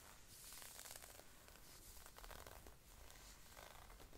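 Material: Synthetic knit.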